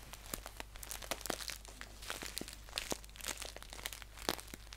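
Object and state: Paper tea pouch being crinkled.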